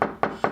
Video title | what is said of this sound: ZIRCON STUDSENSOR 70 ~ ELECTRONIC MAGIC | sounds hollow. There isn't a stud there.